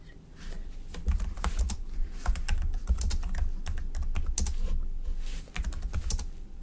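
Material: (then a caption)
Plastic. A slim black plastic computer keyboard resting on a white desk is typed on with the fingertips of both hands. Quick, dry key taps run in a steady, irregular stream, each a short bright click over a soft low thump. The typing briefly eases for a moment near the end, then carries on.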